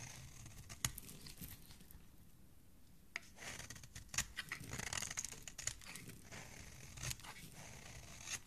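A metal blade repeatedly scrapes and shaves crumbly curls off the edge of a solid, palm-sized pink soap bar held in one hand. Quiet, dry, crisp scraping and crinkling strokes come with sharp bright clicks over a soft, low background.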